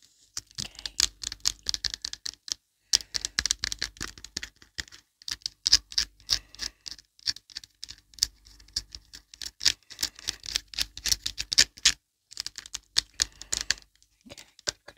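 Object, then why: Plastic lotion bottle. Long colorful acrylic nails tap rapidly on a small, hollow white plastic Olay Complete lotion bottle with a yellow cap, held upright and appearing filled with lotion. The result is dense bursts of quick, bright, clicky taps with almost no low end, separated by brief pauses.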